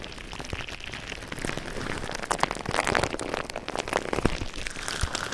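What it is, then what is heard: Plastic bubble wrap. Clear plastic bubble wrap covers a microphone while fingertips squeeze and rub the bubbles on both sides. Dense, close crinkling and crackling is punctuated by sharp, bright pops, growing louder and busier after the first second.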